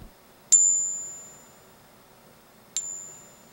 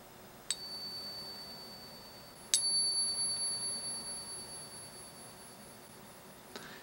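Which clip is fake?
The first.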